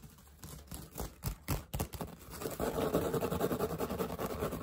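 Nails and fingertips scratch and rub the woven straw crown and brim of a wide-brim woven straw hat with a patch, held close. A few separate dry scratches and taps come first, then the scratching turns into a fast, dense, continuous rustling that grows louder toward the end.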